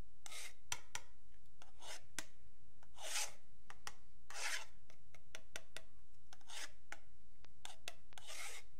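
The metal tip of a ballpoint pen scratches and scrapes along the marked edge of a long, flat, solid wooden yardstick held up by fingertips. Longer bright, rasping strokes alternate with quick, sharp ticks, all at a soft, steady level with a low background hum underneath.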